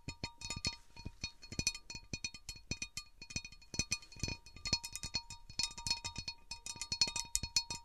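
Long nails tap quickly around the outer rim edges of an empty, large, round, divided cut glass serving platter. The result is a rapid, uneven stream of bright, glassy clinks, each dying away almost at once, with a faint high ring and a steady tone near 1 kHz running underneath.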